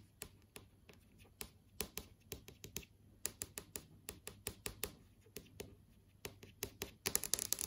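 Long acrylic nails tap and trace across the solid plastic-film surface of a large flat LCD TV screen showing app tiles. Sharp, bright, dry clicks sound one by one with almost no ring over a faint low hum, then bunch into a quick, scratchy flurry of taps at the end.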